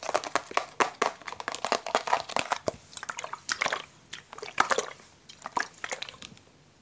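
Fingertips and nails tap, scratch and squeeze a hollow, blue translucent plastic water bottle with a cap. Rapid, crisp clicks and crinkling crackles come in uneven bursts, bright in the midrange with no low end. The sounds grow sparser and quieter toward the end.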